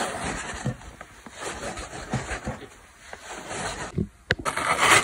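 A large rectangular dry orange-yellow foam car sponge with a cotton cord, a solid porous block held in one hand, is scratched across its surface and edges with long black acrylic nails. A dry, airy scratching and rubbing hiss rises and falls in uneven strokes, with a brief quiet gap and a sharp crisp tick near the end before a louder, brighter scrape.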